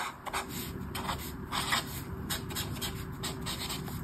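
A black marker pen rubs across a thin paper page of a colouring book on a table while colouring in mandala sections. Short, bright scratchy strokes repeat over a steady low hum, with a faint constant tone around 400 Hz underneath.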